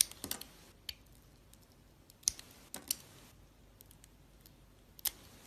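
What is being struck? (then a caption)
Bar of soap carved with a metal blade. A metal utility-knife blade shaves and carves a palm-sized solid soap bar, orange with purple and cream swirls, held in the hand. Short, bright scraping and scratching strokes come at irregular intervals over a quiet background, each crisp with almost no ring, dominated by high frequencies with little low end.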